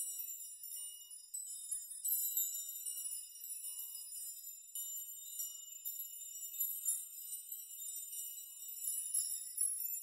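Rows of thin metal nails hanging in a nail chime are pushed and brushed with palms and fingertips in a rocking, shaking motion, so they clink against each other. The result is a quiet, continuous shimmer of bright, high jingling and tinkling with no low end, swelling and easing as the nails sway.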